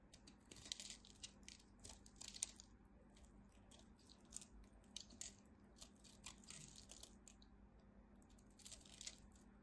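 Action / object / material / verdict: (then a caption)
scrape / carved bar of soap / soap / none. A blade scrapes across the scored face of a dry, partly carved solid red bar soap with white stripes, breaking off small cubes. It gives a quiet, bright, crisp crunching of short irregular crackles with no ring, over a faint steady low hum.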